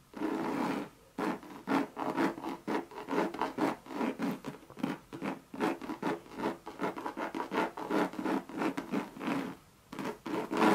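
Long red nails scratch and tap the coated canvas of a Louis Vuitton monogram bucket bag with a leather rim and brass feet. Quick, dry scratching strokes come in rapid bursts with brief pauses, carrying a mid-range tone around 320 Hz and little low-end weight.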